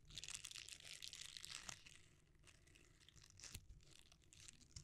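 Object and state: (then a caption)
Silicone scrubber. A palm-sized, flexible red silicone bristle scrubber is squeezed, bent and rubbed with the fingers close to the microphone, without touching it. It makes a dense, irregular, bright crinkling and crackling texture that is loudest in the first two seconds, then softens, with a sharper crackle near the middle before the rubbing picks up again.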